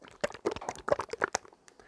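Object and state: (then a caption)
Oil bottle full of thick oil. A bottle of ordinary 3-in-1 oil, full of fairly thick oil that clings to metal parts, is shaken close to the microphone before being applied to a secateur pivot. A quick run of sloshing, clicking bursts is heard, and the thick oil sounds a bit like olive oil.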